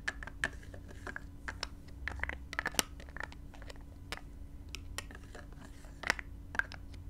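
Long nails and fingertips tap and scratch the black plastic cap of a small clear spray bottle, possibly plastic or glass, partly filled with gold-glittery liquid, with a gold metal neck, lying on blue velvet, rotating the cap as they go. Quick, bright clicks and short scratchy taps come in an uneven series over a steady low hum.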